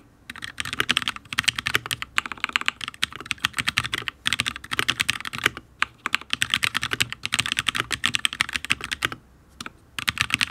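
Fingertips of both hands type on a HyperX Alloy Origins RGB full-size mechanical keyboard with Fire switches, ABS keycaps and a steel plate. Rapid bursts of bright, sharp clacking keystrokes with almost no ring are separated by brief pauses. The keyboard sounds solid.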